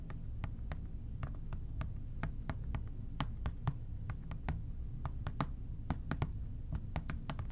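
An OxiClean plastic trigger spray bottle is tapped with the fingertips in a quick, irregular run of light, dry clicks with very short ring, heard over a steady low rumble. The bottle is then moved to the side.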